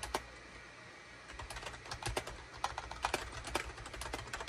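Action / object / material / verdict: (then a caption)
tap / plastic computer keyboard / plastic / none. A full-size gray, cream and orange SHIPADOO K600 wired USB plastic keyboard with a hollow housing sits on a desk mat and is typed on rapidly with the fingertips of both hands. Quick, irregular, clacky key strikes sound bright and hollow. One strike comes early, then a short pause before steady typing resumes.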